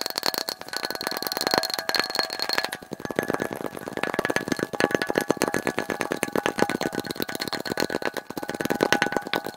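A glass light bulb is tapped rapidly and continuously, played back at double speed. The result is a dense stream of short, bright clicks with faint high glassy ringing tones.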